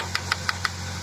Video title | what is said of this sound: Usaha Daur Ulang Plastik, Wajib Tahu !!! | kalau kalian pukul pun nih suaranya gepuk gitu